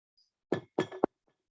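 Knuckles knock on a wooden table or desk for luck, giving four quick, dull knocks with a hollow, mid-low thud and almost no ring. Each knock stops short, with the last one sharpest.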